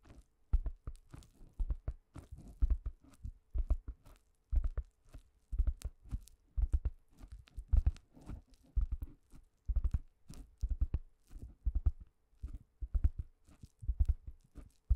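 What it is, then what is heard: Foam microphone cover tapped. Long nails and fingertips tap and scratch a thick, round pink foam cover on a microphone, making a steady stream of soft, muffled thumps. The taps come in quick clusters with short pauses, deep and dull with almost no ring. Faint crinkly rustles sit between the thumps.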